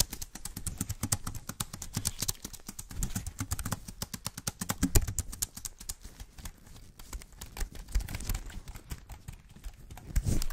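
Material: Aluminum, plastic.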